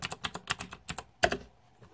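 Fingertips type on a green-backlit Razer 2014 Deathadder mechanical keyboard with plastic keycaps, producing about eleven quick, bright clacks with short, dry decays. The strongest stroke comes near the end, followed by a fading tail and near silence.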